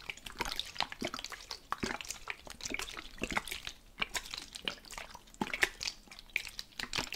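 A medium plastic spray bottle, partly filled with teal-green liquid, is gripped in one hand and shaken and tilted side to side close to the microphone. The liquid sloshes inside with a rapid run of bright, wet splashes and clicky drips. The sound stays quiet and mostly high-pitched throughout.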